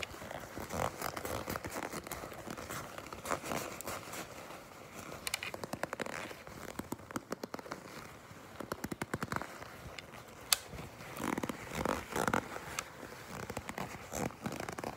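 Long pink nails grip, scratch and crinkle the surface of a black glossy leather jacket held close up, with light tapping in between. The result is a quiet, steady stream of dry crackles and crinkles, with a few sharper snaps standing out.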